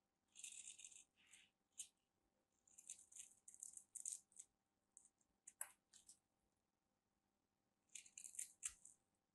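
A whole solid white rectangular bar soap with an embossed grid is held in the hand and scraped and carved along its edge with a small black knife blade, shavings crumbling off. It gives quiet, bright, dry rasping and crackling bursts, some longer scrapes and some short sharp clicks, in uneven runs with brief pauses between them.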